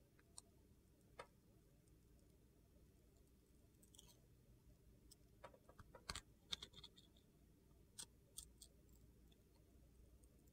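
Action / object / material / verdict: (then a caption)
scrape / bar of soap shaved with a knife blade / soap / none. A metal utility knife blade shaves a hand-held solid yellow bar of soap with sequins and a white interior, peeling off slices. Sparse, quiet, crisp clicks and short bright scrapes come at irregular intervals, clustering around the middle, over a steady low background hum.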